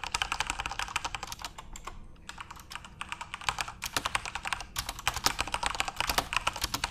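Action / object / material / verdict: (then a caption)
tap / mechanical keyboard with plastic keycaps / plastic / none. Fingertips type steadily on a full-size RGB-backlit Corsair mechanical keyboard with plastic keycaps. Sharp, bright clicks and clacks come in quick bursts with brief pauses between. Each keystroke dies away almost instantly.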